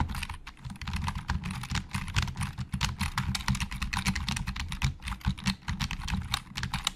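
Fast fingertip typing with both hands on a hollow black plastic Logitech keyboard produces a dense stream of short, sharp clicks. The clicks are bright and clattery over a low hollow thump, with no ring after each keystroke.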